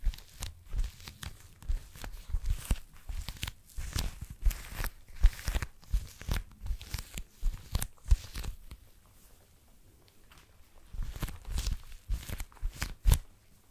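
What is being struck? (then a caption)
Small leather wallet. A small blue leather wallet is held close to the microphone while fingertips with long nails scratch and tap the leather. Quick, dense bursts of scratchy rustling and soft low thumps come one after another, pause briefly near the middle, then resume.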